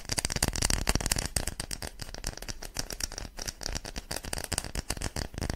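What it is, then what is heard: Wooden block. A small, light-coloured rectangular block of solid wood, held in both hands in front of a microphone, is tapped and scratched with long fingernails. The result is a fast, irregular stream of dry clicks and scrapes, each with a low thump and a bright edge that dies away almost instantly.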